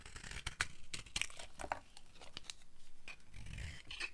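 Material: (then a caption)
Soap. A metal blade shaves thin curls off a solid, dry, orange oval bar of soap held in the hand. The result is a series of crisp, dry scraping and crackling snaps with bright, brittle edges over a soft low rumble. Each cut dies away almost instantly.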